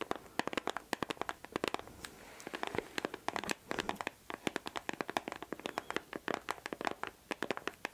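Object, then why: Small glossy cardboard box. A small glossy printed cardboard perfume gift box with a picture on it, likely with the perfume still inside and possibly still in its cellophane wrap, is held in one hand close to the mic and scratched and tapped with long acrylic nails. Dense, quick, dry clicks and taps come with crisp scratching and crinkly texture, mostly mid-pitched with bright edges and almost no low end. The sound stays quiet and close throughout.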